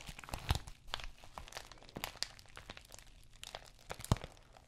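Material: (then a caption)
Plastic. Long nails scratch and tap across the textured plastic face of an empty white padded bubble mailer. Soft, dry crinkling scrapes and light clicks repeat steadily, with a few sharper, louder taps standing out near the start and end.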